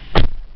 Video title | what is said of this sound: 帝王の代車レビュー「トヨタパッソ」 | 多少ちょっと重みがあるんです